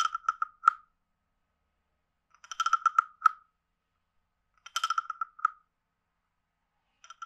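A palm-sized, hollow, carved reddish-brown wooden frog guiro is held in the hand while a wooden stick alternately taps its head and scrapes its ridged back. Four short bursts of quick, hollow wooden clicks and ratchety croaks are separated by silences. Each burst has a steady mid-pitched tone with bright overtones and almost no ring.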